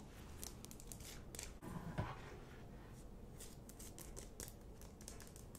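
Long nails scratch and tap the rough crystalline surface of a large, solid pink rock-salt Himalayan salt lamp. Quiet, dry, bright rasping strokes run over a low, steady rumble, with one sharper tap standing out near the middle.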